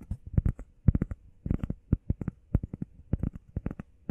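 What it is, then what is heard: Foam pad tapped with nails and fingertips. Long painted nails and fingertips rapidly tap and scratch a flat, solid, hand-sized grey textured EVA foam workout pad shaped like a heart. About two dozen quick, dull, low thuds come in uneven bursts, each dying out almost instantly with no ring.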